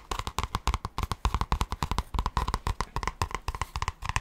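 Fingertips and short nails rapidly tap and scratch the thin cardboard cover of a large grey spiral-bound notebook held upright. Quick, irregular, dry taps come in a dense stream, each a dull low thump with a brief papery click that dies away almost at once.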